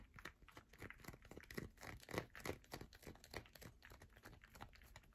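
Long nails scratch and tap quickly across the grooved top of a solid yellow bar of soap. The result is a dense run of short, dry scratching and ticking bursts with crisp, bright edges. Every burst dies away almost at once.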